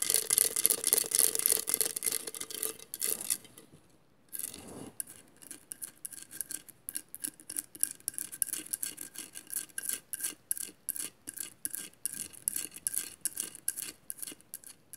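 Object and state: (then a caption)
Glass mosaic vase scratched with nails. Long nails scratch a hollow glass vase covered in mosaic tiles while it is held, making bright, dry rasping strokes. A dense run of fast scratching fades to a brief pause just before four seconds, then gives way to a steady train of short, crisp scrapes at about three to four per second until the end.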